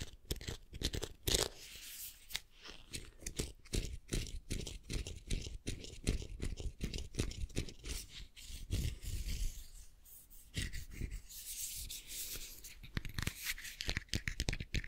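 Fingernails rub and scratch the hollow, sculpted-hair head of an unboxed vinyl Funko Pop Madame Maxime figure, about 10 cm tall. The result is a dense run of quick, dry scratches and crackles with a soft low thump underneath, each stroke dying away almost at once.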